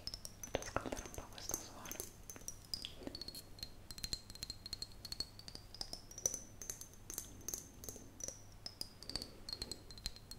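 An empty, hollow clear glass mason jar is cupped in the hands and tapped and scratched with long fingernails. Quiet, rapid clicking taps and scratchy strokes fill the clip over a faint low hum, while a thin, high ringing tone glides slowly up and down throughout.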